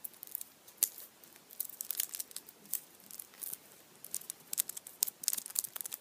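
A foil-wrapped Kinder chocolate Easter bunny in printed aluminium foil stands upright on a towel while fingertips rub and tap the foil. The result is quiet, bright crinkling and crackling, with many short, sharp ticks that fade almost instantly and carry almost no low end.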